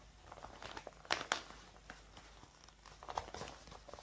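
Fingertips with long painted nails grip, crinkle and rub a large, thin, clear plastic zip bag with red edging, hollow and mostly empty, lying on a wooden table beside an untouched pile of paper receipts. Soft, bright crinkling and rustling runs throughout, broken by two sharp, loud crackles close together early on before settling back to quieter rubbing.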